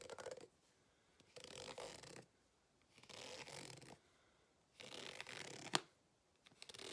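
A white plastic fork held in the hand scratches across the ribs of a green ribbed rubber hot water bottle with an embossed logo, lying flat, hollow and apparently empty. Five bursts of dry, bright, rasping scratches are separated by short quiet pauses, with a sharp click in the fourth burst; the last burst is cut off at the end.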